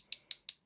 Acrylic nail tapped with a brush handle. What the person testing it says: when you hear that sharp clicking, that is going to tell you that your nail is set and it's ready to file on